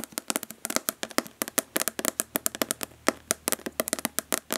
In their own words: Nail tapping on plastic body lotion bottle.